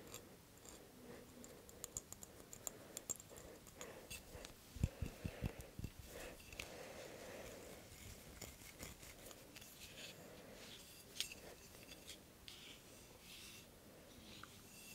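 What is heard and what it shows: A hand-sized Nescafe Gold glass jar with a metallic lid, filled with instant coffee, is held and tapped and scratched with fingernails on the glass and its label. The result is quiet, close, irregular soft taps and dry, bright scratching, with a slightly louder cluster of taps near the middle.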